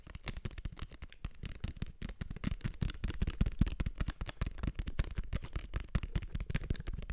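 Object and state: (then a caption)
Plastic eyeglasses. Fingertips and nails tap and scratch the frame and arms of small black plastic-framed eyeglasses held right at the mic. Rapid, irregular dry taps and scratchy clicks run throughout, with a strong low thump in each tap and faint bright ticks that die away almost instantly.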